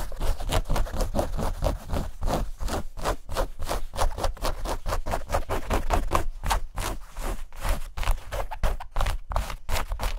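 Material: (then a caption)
Denim. Light-blue denim shorts, held up by hand, are scratched and rubbed with long nails over the fabric and seams. Fast, dense strokes give a steady run of short, dry scraping bursts with a heavy low rumble and little sparkle, each stroke dying away almost at once.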